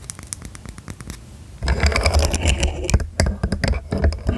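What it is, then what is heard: Plastic segmented fidget toy. A hollow, segmented rainbow plastic fidget slug toy, arched over the mic, is clicked and flexed by fingertips and nails. Quiet, sparse, sharp clicks give way after about a second and a half to louder, denser clicking and scraping with a heavy low rumble. Fast, irregular clicks continue to the end.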